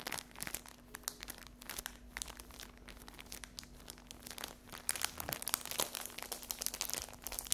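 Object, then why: Cellophane-wrapped paper napkin pack. A cellophane-wrapped paper napkin pack is scratched on a table, then lifted and scratched in the hands with long acrylic fingernails, crinkling the plastic. Dense, bright scratching and crackling clicks run throughout over a faint steady low hum, growing louder and busier in the second half.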